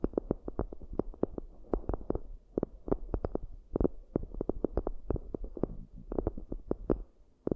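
Long acrylic nails and fingertips tap and scratch the rims and inner surfaces of two round, shallow, hollow cork coasters with raised rims, both hands staying on the coasters throughout. The result is a quick, uneven patter of dull, dry taps over a soft scratching hiss, all low and muffled with no bright ring.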